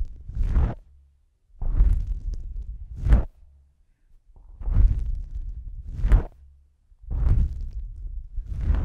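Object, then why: Foam microphone windscreen. A fingertip with a long pink nail rubs and presses a pair of small, soft, porous black foam windscreens on a stereo microphone. The result is deep, muffled rumbling swishes that swell and fade in long strokes, with brief brushy peaks reaching into the highs, separated by near-silent pauses.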